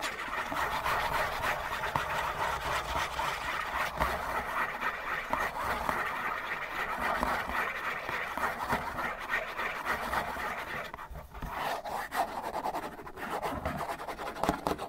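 Fingernails scratch fast across the faces of a hollow cardboard Kleenex tissue box with a dispensing slot. The dry, raspy scratching runs almost continuously, centred in the mid range around 1 kHz with some brighter grit on top. The level stays steady apart from a brief dip near the 11-second mark.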